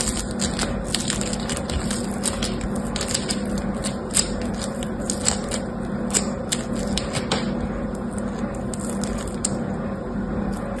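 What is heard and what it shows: Fingertips with medium painted nails squeeze, stretch and pull apart a palm-sized, solid lump of yellow and green polystyrene foam beads in sticky slime (floam). A dense, continuous crackling runs throughout, with sharp, bright pops over a steady low hum.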